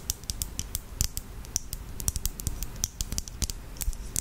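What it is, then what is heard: Plastic lip gloss tube, tapped and scratched. Long acrylic nails tap and scratch a small clear lip gloss tube filled with red gloss and topped with a black cap. The result is a quick, irregular series of sharp, bright plastic clicks mixed with light scratching, each dying out almost instantly.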